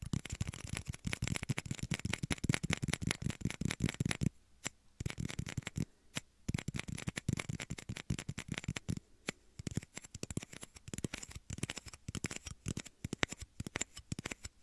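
Small, empty, clear hollow plastic shot glasses are held near both ears of a microphone and tapped rapidly with fingertips and nails. The result is a dense stream of dry, hollow clicks with a low thump and bright edges that stop almost instantly. The tapping pauses briefly around 4 and 9 seconds.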